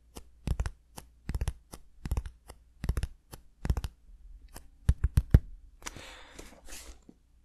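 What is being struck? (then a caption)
Cardboard shipping box. Fingertips tap and scratch the surface of a small, hollow brown cardboard shipping box held in both hands, making quick bursts of dry, clicky taps with a low, hollow thump. Louder single knocks follow, then the box is lowered and turned, ending in a soft scratchy rustle.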